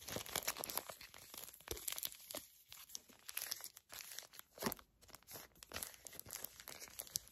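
A small, flat, filled Garnier Fructis hair mask sachet made of foil/plastic laminate is crinkled, scratched and squeezed with long acrylic nails. The result is a rapid, irregular stream of bright, dry crackles and crunches with almost no low end, coming in dense bursts separated by brief quieter gaps.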